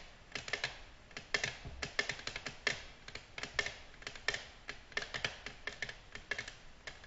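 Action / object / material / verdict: tap / glass tabletop / glass / none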